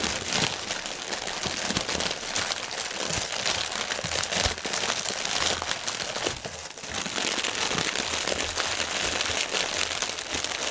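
Fingertips and nails scratch and tap across a strip of inflated clear polyethylene air cushions, hollow and air-filled, lying on a white table. A dense, bright crinkling and crackling runs steadily throughout, with little low end and a brief dip in loudness partway through.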